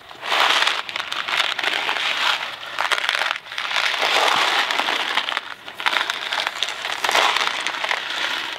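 A Kraft macaroni and cheese cardboard box full of dry pasta is held between both hands, handled and shaken. The loose pasta rattles in dense, bright crackling bursts with brief lulls between shakes, and there is almost no low end.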